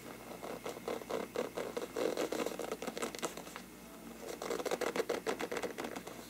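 Fingertips scratch and tap the paper of a large, hollow, empty bell-shaped lampshade of mottled faux-parchment paper, held with both hands at its lower rim. The result is a rapid, dry patter of light taps and papery scratches with a hollow tone around 440 Hz, each tap dying away almost instantly. A brief quieter lull in the middle separates two dense bursts.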